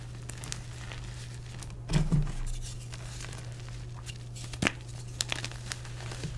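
Bare fingertips and palms squeeze, crush and crumble dry, pale orange dyed gym chalk (magnesium carbonate) blocks, solid, brittle, porous chunks, into powder among loose powder in a dark round bowl. Soft crinkling crumbles run throughout over a steady low hum. Louder gritty crunch bursts come around two seconds and again near four and a half seconds, followed by sharp, bright crackles toward the end.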